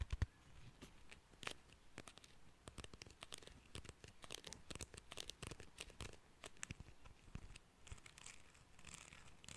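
Fingertips and nails strum the fine teeth of a small, solid cream plastic hair comb in front of a microphone. The result is a quiet stream of quick, dry, scratchy rasps and bright ticking clicks over a faint low rumble, each stroke dying away almost instantly.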